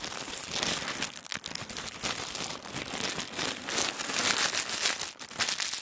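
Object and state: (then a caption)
Tissue paper being crinkled. Fingertips press, fold and crinkle a thin sheet of white tissue paper folded on a wooden table. The clip is a continuous, bright, papery crinkling with almost no low end. Its rustle briefly dips near 1.2 and 5.2 seconds before swelling again.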